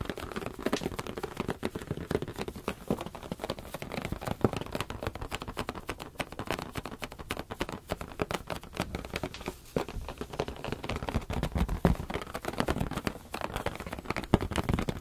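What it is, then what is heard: Rubber balloon. A medium teal latex balloon, hollow and air-filled, is held in both hands and rapidly tapped and scratched with the fingertips and nails. The result is a dense, continuous stream of soft, quick taps and rubbery squeaks and scratches, weighted toward a muffled low thump. Each hit dies away almost instantly.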